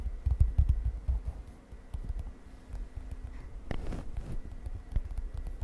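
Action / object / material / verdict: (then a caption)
tap / lined paper page of a spiral notebook / paper / none. Long nails tap on the lined paper page of an open spiral notebook lying on a bed. The taps are soft, dull and low, coming in a quick, irregular patter that dies away almost at once. A faint steady hum runs underneath.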